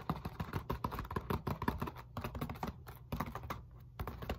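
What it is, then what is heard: Foam roller, molded polyethylene foam. Long nails tap and scratch quickly along the textured surface of a solid black molded polyethylene foam roller lying across a lap. The result is a rapid run of dry, muffled clicks with a dull low thud under each and short scratchy scrapes between them. The taps stop almost instantly with no ring.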